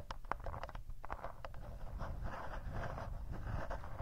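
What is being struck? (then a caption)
Plastic handheld recorder casing. Fingertips and short nails tap and scratch the rubberized casing of a hollow, black plastic Tascam handheld recorder, held upright in both hands, with two mic capsules on top. Sharp, dry clicks come first, then settle into a steady, close scratching rasp over a soft low rumble, with no ring after each touch.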